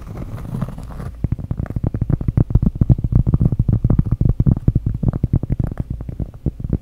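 Long acrylic nails tap and scratch the surface of a thin, solid, round flat cork trivet or coaster with dark printed squares, held up close to the microphone. A soft, breathy scratching opens the clip for about a second, then gives way to fast, uneven taps that sound dull, low and muffled. Each tap stops dead with no ring.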